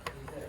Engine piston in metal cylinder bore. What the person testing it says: you can hear it tapping against the side wall like that cuz it was scored